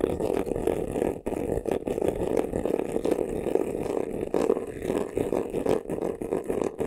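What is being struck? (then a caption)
Embossed faux leather vanity case. Short nails rapidly scratch the textured front of a hollow, black crocodile-embossed faux leather vanity case. The result is a dense, continuous rasping scratch centered in the midrange, with brief dips in the strokes throughout.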